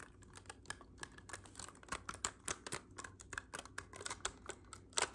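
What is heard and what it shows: Fingertips rapidly tap the silver metal keys and hollow body of a black clarinet tilted forward. About twenty-two quick, dry clicks and taps run in an uneven stream, bright and sharp with almost no ring. A few louder knocks land near the middle and end.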